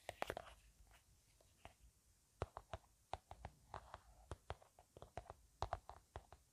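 Long painted nails tap and scratch along a blueberry-print plastic hand cream tube, which is hollow, appears filled, and is held horizontally in both hands. About two dozen quiet, sharp, dry clicks with a mid-pitched tone sound in uneven clusters, with soft scratching between them. Each tap dies away almost instantly.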